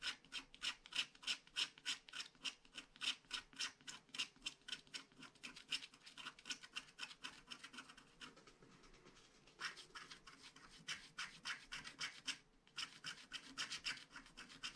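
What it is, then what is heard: Scratch-art card being scratched. A wooden stylus scratches the black coating of a flat paper scratch-art card near a drawn castle and cloud, making quick, bright, dry scratching strokes at a steady pace of a few per second. The strokes soften into a continuous light rasp for a moment midway, pause briefly near the end, then resume.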